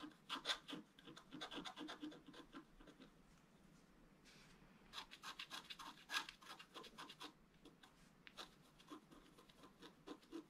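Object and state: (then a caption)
Scratch art board being scraped. A wooden stylus scrapes strokes across a flat black coated scratch art paper board, making dense bursts of dry, bright scratching. The strokes come in quick clusters with a softer, quieter rubbing stretch around the middle.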